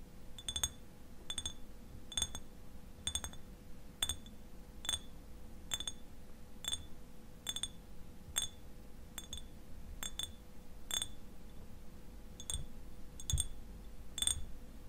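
Fingernails tap the bottom and sides of a clear glass eyewash bottle, partly filled with liquid and held tilted, in a steady series of sharp, bright clinks with a short glassy ring. Some taps come in quick pairs, and a faint steady hum and low rumble sit underneath.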